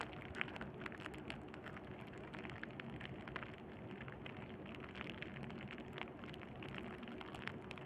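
Crumpled clear plastic bubble wrap, held in one hand near a black cable, is squeezed and crinkled with the thumb. It makes a steady, quiet stream of dense crackling, with many sharp, brief clicks and snaps over a soft low rumble.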